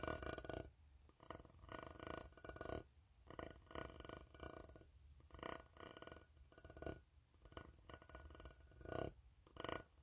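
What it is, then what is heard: Empty ribbed tin can. A fingertip taps and scratches the ribbed side of an empty, hollow steel tin can near its bottom. The result is quiet bursts of dry, scratchy rasping and light tapping with a bright, hissy edge and almost no ring, separated by near-silent pauses.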